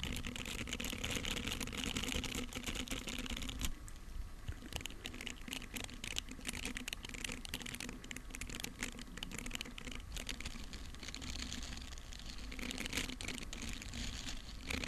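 A flat, round, palm-sized red silicone pad, thin and solid with a dotted, grippy surface, is held in front of the microphone with both hands while long manicured nails and fingertips tap and scratch its textured face. The result is a steady stream of quick, dry clicks and bright scratching rustles with very short decay over a soft low rumble. The taps run fast and dense with no clear pauses.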